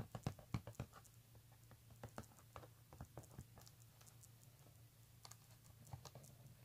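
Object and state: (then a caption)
Embossed leather handbag. Fingernails scratch across the front of a pink embossed leather handbag and then along its stitched leather edge, making quick, irregular, dry ticks and scratches over a steady low hum. The sharp ticks are loudest and densest in the first second, then settle into softer, patchier scratching with occasional brighter clicks.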